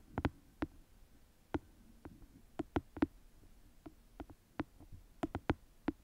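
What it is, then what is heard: Paperback book tapped with nails. Long nails tap and scratch the page edges and cover of a small paperback book held flat close to the mic. Sharp, dry, irregular taps with a short low body land over quiet, soft scratching, each click dying away almost instantly.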